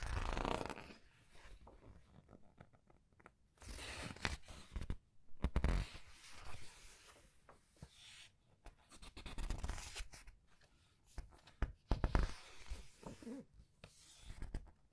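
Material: Paper.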